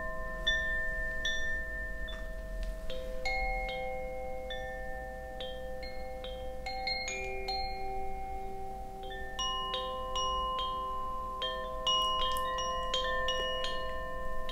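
A hollow bamboo Koshi wind chime with internal metal rods, hanging from a string with a wooden sail, is gently swung and shaken by hand so its clapper strikes the rods. Bright, bell-like tones ring out in an irregular, overlapping stream, each note sustaining and layering into a shimmering chord over a faint low rumble.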